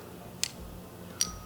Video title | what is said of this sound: 4 Ink Bottle Shapes Explained! | you can hear the ball like rolling around in there